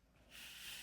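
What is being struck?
Nothing is struck.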